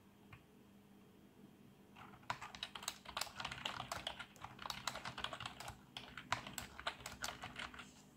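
A black plastic backlit membrane keyboard is typed on continuously by the fingertips of both hands on its plastic keys. After about two seconds of quiet background hiss, a rapid, uneven stream of short, soft plastic clicks and taps begins, centered around 1 kHz with bright high edges. The typing continues steadily to the end.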